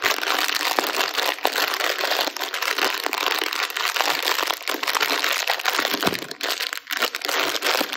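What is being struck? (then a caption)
Metallized plastic snack bag with crackers inside. A small sealed metallized plastic snack bag full of crackers is crumpled and rubbed with the fingertips and thumbs while being turned in the hands. It makes a steady, dense, bright crinkling with many sharp crackles and brief dips, with almost no low end.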